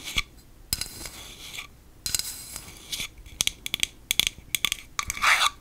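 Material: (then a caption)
Aluminum. A medium-size, hollow aluminum Batiste dry shampoo aerosol can is held in both hands and tapped and scratched with long acrylic nails. Bright, dry metallic clicks and brushing scrapes come in a quick, uneven series with almost no ring, ending in a louder scratching burst.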